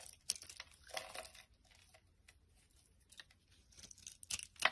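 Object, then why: Glycerin soap bar carved with a knife blade. A utility knife blade carves and scrapes the surface of a solid, translucent amber-yellow glycerin soap bar held in the hand, breaking off chunks and curls. The result is quiet, bright, crackly scraping and crisp snapping bursts with quieter gaps, growing loudest near the end.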